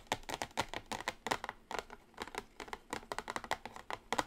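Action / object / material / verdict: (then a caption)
tap / small cardboard palette box / cardboard / none. Long acrylic nails on both hands tap a small, flat, orange printed cardboard eyeshadow palette box lying on a table. The result is a quick, continuous run of light, dry clicks with very short decay, bright and crisp in tone. The taps sometimes cluster into rapid bursts.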